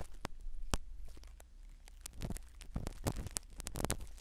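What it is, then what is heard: Foam microphone cover being scratched. A black spiral ear pick scratches the foam cover of a small black microphone set inside a silicone dummy ear. Soft, irregular scratching and crackling clicks ride over a low rumble, with sharp brighter ticks scattered through the clip.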